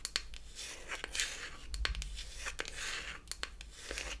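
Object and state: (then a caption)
Wooden toy palette tapped and scratched with nails. Long acrylic nails tap and scratch the flat wooden back of a closed beech-wood toy eyeshadow palette. Sharp, dry clicks land between stretches of bright, raspy scratching. Each tap stops almost at once, leaving no ring.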